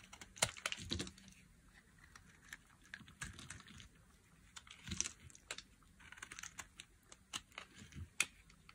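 A metal utility blade carves and scrapes the edge of a solid, hand-sized yellow bar of dry soap. The result is a quiet, irregular run of crisp, bright clicks and short scraping strokes, each dying away almost instantly with no ring.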